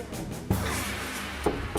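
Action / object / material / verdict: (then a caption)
knock / apartment partition wall, light panel / panel board / hollow. Three knocks on a light panel partition wall in an apartment, a wall meant as an emergency escape route into the neighbouring unit, give a low, hollow thud. The hollow sound confirms the wall is empty inside.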